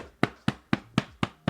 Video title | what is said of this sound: How To Make Your Own Name Tags And Name Plates! Perfect For Bags, Clothes, Hats And Etc!! | it's not as tight as it should be because it doesn't have that drum sound